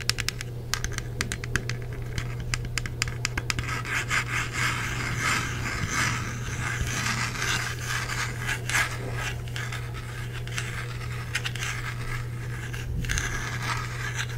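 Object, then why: Plastic game controller. Fingers scratch and rub the back and battery compartment of a hollow black plastic Xbox 360 controller. The result is a steady, dry crackle of quick, bright scratches over a constant low hum.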